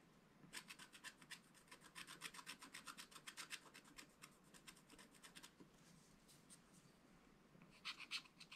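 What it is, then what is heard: Scratch art card being scratched. A wooden stylus scratches the coating of a flat, black-coated scratch art card in a spiral pad. Quick, bright, raspy strokes run at about four per second for roughly five seconds, then fade to faint, sparse scrapes. A final short flurry of strokes comes near the end.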